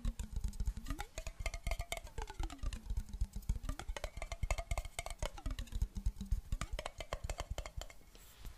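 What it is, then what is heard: Glass jar with metal lid, partly filled with water. A clear glass jar, partly filled with water and closed with a metal lid, is tapped quickly with long black nails in a steady stream of dense, crisp clicks. Under the taps, a ringing glassy tone slides down and back up in pitch several times as the water shifts. The tapping thins out and fades to a soft hiss at the end.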